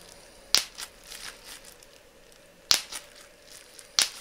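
A flat piece of clear plastic bubble wrap is held between both hands while individual bubbles are popped by pinching with thumbs and fingertips. Three crisp, bright pops stand out, spaced unevenly, each snapping off almost instantly. Soft plastic crinkling fills the gaps between them.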